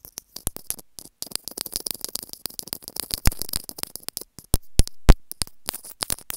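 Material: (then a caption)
Plastic. Long nails continuously scratch and tap the casing of a small white plastic inline microphone on an earphone cable held in the fingers. Dry, crackly scratching and sharp, bright clicks come in a quick, irregular stream with very short decay. A few louder taps stand out around the third and fifth seconds.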